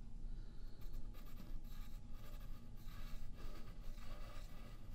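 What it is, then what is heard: Pencil drawing on paper. A yellow graphite pencil makes short scratching and tapping strokes on a thin sheet of white paper lying flat on a wooden table and held down by the left hand. The quiet, papery scratches come in brief bursts over a steady low rumble.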